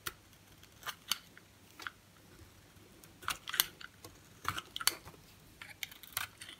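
A box-cutter blade shaves and carves a solid green bar of soap held in the hand, with other soap bars resting on the table, cutting it into flakes. A series of short, crisp, bright scraping cuts comes at an irregular pace with quiet pauses between them. Each scrape stops sharply, leaving no ring.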